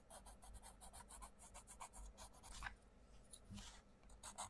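A wooden coloured pencil scratches and rubs across the mandala page of an open paperback colouring book lying on a table, while the other hand holds the page flat. The result is a quiet, rapid series of short, dry strokes with a bright, raspy hiss, over a soft low rumble.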